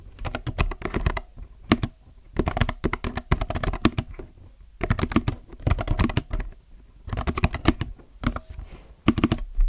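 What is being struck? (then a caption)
Mechanical keyboard with plastic keycaps. Both hands type steadily with their fingertips on a compact mechanical keyboard with plastic keycaps. Quick runs of short, clacky keystrokes come in bursts separated by brief pauses. Each press lands with a deep, full-bodied thock and dies away almost instantly.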